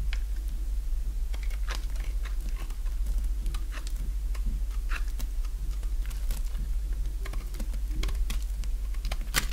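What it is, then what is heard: Dry soap bar being carved. A small, solid white bar of dry soap, already partly carved down, is shaved with a utility-knife blade so crumbly chips break off with each stroke. Quick, dry, crisp scraping and crunching clicks come at an uneven pace over a steady low hum. A brighter, sharper crack lands near the end.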